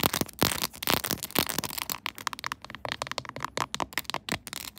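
Long nails rapidly scratch and tap the pink plastic buttons glued onto a clear plastic phone case on a smartphone. A dense, bright scratching texture gives way to a quick series of short, crisp plastic clicks and taps with almost no ring.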